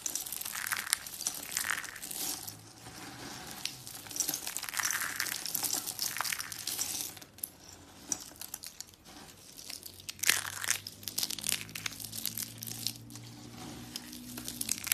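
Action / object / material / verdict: scrape / dry soap shavings / soap / none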